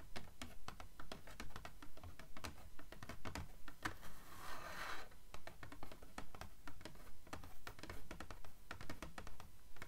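Long nails scratch and riffle along the page edges of a blue paperback book held on its spine. It makes a steady, regular patter of quick, dry clicks with soft low thumps underneath. Midway through, a longer rasping scrape stands out before the even clicking picks up again.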